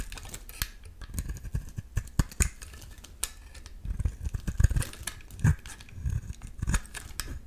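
A metal utility-knife blade is scraped along the edges of a solid yellow bar of soap. It makes a run of short, dry scraping and crunching strokes with a soft, low body and brief bright clicks, arriving in uneven clusters with quiet gaps between them.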